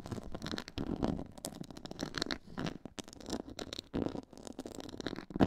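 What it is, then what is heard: Textured faux leather board. Long nails scratch the sides of a black quilted, pyramid-textured faux leather board. The sound is a dense run of quiet, dry scraping and scratching strokes with a low, muffled body and some bright edges.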